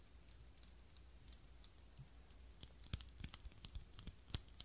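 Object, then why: Small ribbed glass candle holder. Long nails tap and click on a small clear ribbed glass cup holding a lit tealight candle. Quiet, irregular, bright clicks with a high glassy ping cut off almost instantly become louder and more frequent in the second half, over a faint low hum.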